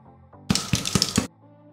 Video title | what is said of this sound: Mafalde siciliane con lievito madre, pane tipico siciliano fatto in casa | saranno cotte quando bussando al di sotto faranno questo rumore